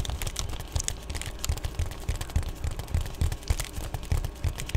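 Long painted nails tap and scratch an Amazon Prime padded poly bubble mailer that is flat, thin and appears empty while it is held up. Quick, irregular taps with dull low thumps mix with bright crinkly scratching across the plastic surface.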